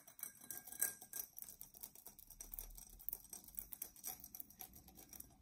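Long nails scratch the raised pattern of a dark, textured Coca-Cola drinking glass, hollow and apparently empty, held in both hands. The result is a quiet, rapid run of dry, bright scratchy ticks that stop almost instantly, with a faint low rumble underneath.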